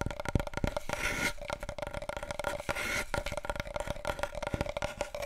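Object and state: Large cardboard tube.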